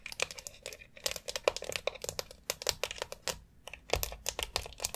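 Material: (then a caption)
Plastic. Long acrylic nails tap rapidly on a white plastic foot massager board with rounded nubs and a central dome, then scratch between the nubs. The result is a dense run of short, bright, dry clicks mixed with crinkly scratching, sharpest in the high frequencies with very little low end.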